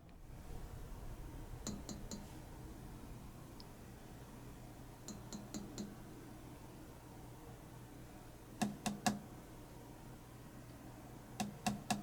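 A glass 300B triode vacuum tube, with metal plates and wires inside, is tapped in four quick clusters of about fourteen light clinks while a loudspeaker sits on top of the tube amplifier. This tests whether tube resonance adds reverberation and sheen. Each tap gives a short glassy ping with a low tone near 200 Hz and bright high overtones that fade within a fraction of a second over a steady low hum, so the tube's resonance is audible.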